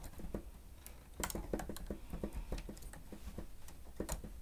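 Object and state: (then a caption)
Plastic stenotype keyboard. Both hands type on the keys of a plastic stenotype machine with their fingertips, making a quick, uneven run of quiet, clicky taps. The taps are mostly low and soft, and a few come with brighter clicks on top. Each tap dies away quickly.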